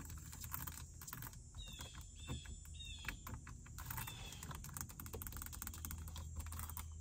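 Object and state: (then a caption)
Plastic car stereo panel. Fingertips and long nails tap and scratch on the display screen and surrounding plastic faceplate of a dashboard car stereo unit. Quick, dry clicks and scratchy ticks come in a dense, irregular stream over a steady low hum, with a few brief high chirping tones in the background.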